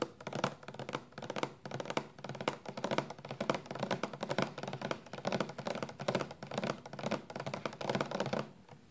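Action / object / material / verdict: tap / plastic shampoo bottle / plastic / none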